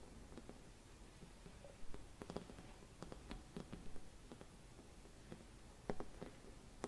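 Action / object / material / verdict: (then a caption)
tap / thin glass Christmas bauble / glass / none. Long red nails tap a hollow, gold-silvered mercury glass Christmas bauble with a cap and hanging loop. Quiet, irregular clicking taps come through with a faint low-mid glassy tone and very short ring, over a soft background hush.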